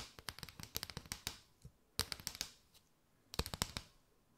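Long nails tap and scratch across a mat of hollow paper straws held in an arch. The result is three bursts of quick, bright, dry clicks with a papery scrape and almost no ring, separated by brief pauses.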